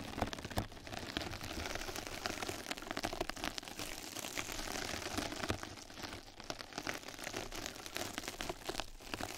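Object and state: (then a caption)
Mesh bath sponge. Two mascara brushes scratch and brush the surface of a flat yellow knitted-mesh scrub sponge pad laid over the microphone. The result is a steady, close-up crackling and rustling that spans from a low rumble up to bright, crisp scratches, with frequent quick strokes throughout.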